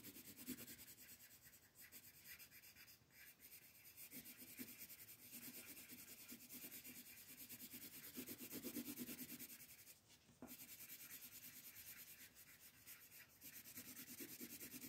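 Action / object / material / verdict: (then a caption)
scrape / colored pencil on a thin paper page / paper / none. A brown colored pencil rubs and scratches across a thin white paper page of a coloring book lying flat, shading in a tree stump. The result is a steady, bright, dry scratching with short rhythmic strokes and a few brief pauses between passes.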